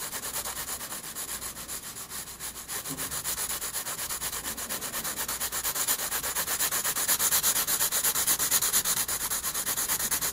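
A graphite pencil held at a low angle rubs dense shading strokes across a page of a spiral-bound paper sketchbook. The strokes come as a rapid, fairly steady run of about three per second, each a dry, bright, scratchy hiss with almost no low end. The scraping grows slightly louder toward the end.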